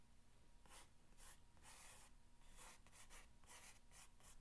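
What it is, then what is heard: Corrugated cardboard box. An index fingernail scratches along the top of a long, hollow corrugated cardboard box. The result is a quiet series of short, dry, hissy scratching strokes, bright and airy in the high frequencies, over a low steady hum.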